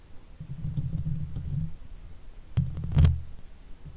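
Long white fake nails on both hands gently scratch the hollow steel mesh grille of a silver Blue Yeti microphone. The result is a soft, low, muffled rustling rumble, broken near the end by a couple of sharper taps and a brighter scrape.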